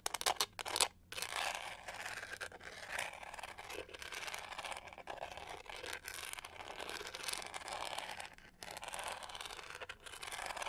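Long nails scratch along the studded pink-gold back of a hollow plastic hair brush held upright. The result is a dense, bright, crackling scrape with a few sharper clicks at the start, running almost continuously with brief pauses between strokes.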